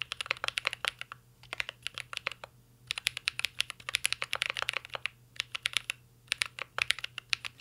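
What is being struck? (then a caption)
Mechanical keyboard with plastic keycaps. A mint-green Cyberboard R3 mechanical keyboard with a metal case and plastic keycaps is typed on continuously with the fingertips. Quick, sharp, bright clacks come in rapid bursts separated by short pauses, each tap dying away almost instantly with very little low end.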